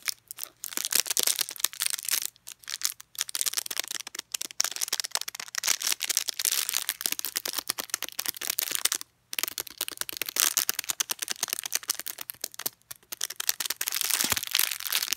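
A green and white plastic toothbrush sealed in a thin clear plastic wrapper is held horizontally while painted nails tap, scratch and squeeze the wrapper. Dense, bright crinkling and crackling plays in quick, dry bursts with brief pauses. A faint steady low hum runs underneath.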